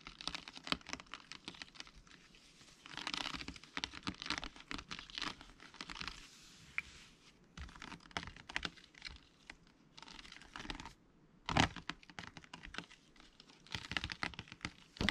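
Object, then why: Rigid clear plastic blister pack. A rigid, hollow, transparent plastic blister pack is held in the hands and tapped and scratched with fingertips and nails. It gives a dense run of quick, dry clicks and bright crinkly scratching with short pauses, and a sharper, louder burst near the middle.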